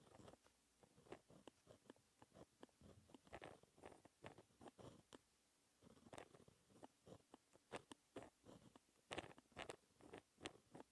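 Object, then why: Gel pen on textured paper sheet. A white gel pen held in the fingertips writes math equations on a flat sheet of black lined textured paper. Quick, dry scratching strokes come in short bursts with brief pauses between them, a crisp, papery sound with bright edges.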